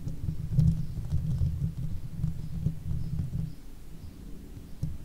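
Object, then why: Metal mesh microphone grille. Long fake nails on one hand scratch the top of the hollow metal mesh grille of a Blue Yeti microphone. The scratching comes through as a deep, muffled, rumbling rustle, with nearly all its energy in the low end and almost nothing bright. It swells and fades in uneven waves.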